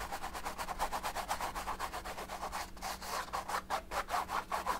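A thin paint brush held in the fingers is repeatedly stroked and rubbed across the textured oil-paint surface of a large, flat, painted stretched canvas. It makes a quick, uneven series of soft, scratchy brushing swishes, centered in the mids with a dry, papery hiss, over a faint steady low hum.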